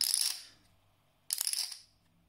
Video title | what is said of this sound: Chipisode #2 - Are Paulson Clay Poker Chips Worth the Money? - Poker Chip Vlog | It's the quintessential clinking sound that you hear in poker rooms, casinos, big tournaments